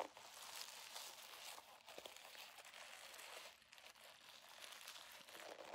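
A holographic vinyl zipper pouch is bent and squeezed in both hands while fingers scratch its surface. It makes a steady, bright crinkling and crackling with no low end, swelling and easing as it is worked.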